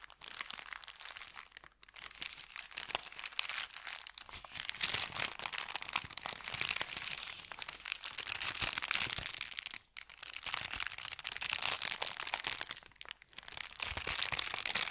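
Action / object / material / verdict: scrape / thin kraft paper bag / paper / none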